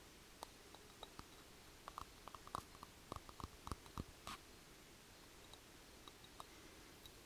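Long painted fingernails tap the outer surface of a small-to-medium, hollow grey speckled granite mortar with its stone pestle standing inside. About 18 short, dry clicks sound in an irregular pattern, clustered densely in the middle and thinning out toward the end. Each click carries a faint bright tone near 1.2 kHz that dies away almost instantly over a quiet background.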